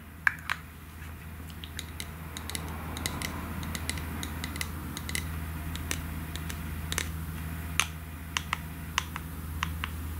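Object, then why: Aerosol can with plastic cap. Long nails tap the white plastic cap and the body of a pink aerosol can, making sharp, dry clicks spaced irregularly over a steady low hum. Each tap is brief, with no ring.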